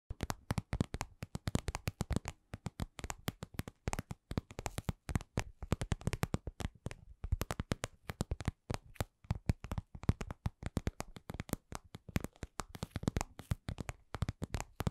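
Long pink acrylic nails tap and scratch a hand-sized, lip-shaped red patent vinyl cosmetic pouch, soft and hollow, held in both hands. Quick, dry, close-up taps come in dense, uneven bursts with brief pauses. Each tap is short and low-heavy, with a faint bright click and no ring.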